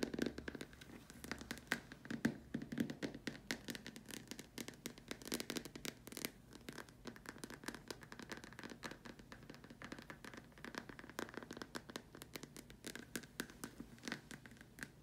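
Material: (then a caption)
Plastic. Long dark nails scratch and tap across the top and sides of a large, hollow white plastic dome lamp shade. The result is a dense, continuous stream of quick, dry clicks and scratchy rasps with a slightly hollow plastic tone and almost no ring after each tap.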